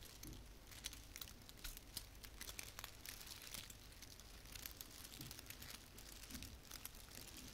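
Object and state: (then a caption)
Artificial plastic pine branch. Long painted fingernails rub and scratch a small frosted artificial fir branch with plastic needles. A quiet, steady stream of bright, crinkly scratches and rustles with quick clicks runs throughout, over a low background hum.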